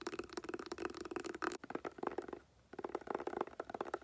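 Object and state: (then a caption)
Woven-covered hard glasses case. Long painted nails tap and scratch a hollow, hard clamshell glasses case covered in tan woven fabric or straw. A quick run of dry, mid-pitched clicks and rustly scratching breaks off for a brief silence partway through, then picks up again.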